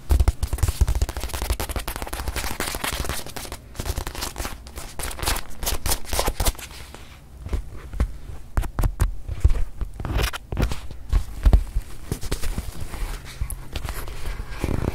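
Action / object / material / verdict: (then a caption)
tap / leather-covered stuffed watch pillow / leather / none. Long nails tap and scratch the leather face of a small, soft, stuffed white leather-covered watch pillow held up in both hands. Dense, rapid, dull tapping with a heavy low thump runs throughout, mixed with crackly scratching. The sound eases briefly near the middle before the quick taps pick back up.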